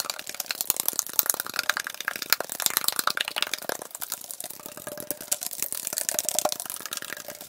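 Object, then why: Aluminum drink can. A tall, hollow aluminum Arizona iced tea can, possibly containing liquid, is held in the hand and rapidly tapped and scratched with fingertips and nails. The result is a dense, fast stream of bright, crisp metallic clicks and scratchy rasps with very short decay, over a faint tinny ring around 600 Hz.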